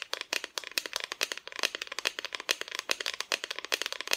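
Long nails tap rapidly on the painted front of a flat, solid, painted wooden Christmas decoration cutout held by its side pieces. About 29 quick, dry, bright clicks sound with almost no ring and no low end.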